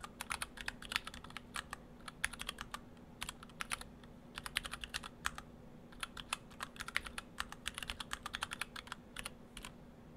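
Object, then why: Mechanical keyboard with plastic keycaps. Fingertips of both hands type steadily on an Orthodox Rev3.1 split ortholinear mechanical keyboard, built in two halves with clear acrylic cases, white and cyan PBT dye-sub keycaps, and stock Gateron Brown switches. The keystrokes are quick, dry, bright clacks that stop almost instantly, centered around 2 kHz, over a faint, steady low hum.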